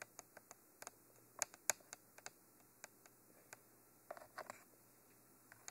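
Long nails tap on top of the hollow, black, textured cylindrical body of a Mitra binaural microphone. The result is quiet, sharp, dry clicks with a bright, high-pitched tone that die away instantly. The taps come at an irregular pace, including a quick flurry near the end, over a steady faint hiss and a low hum.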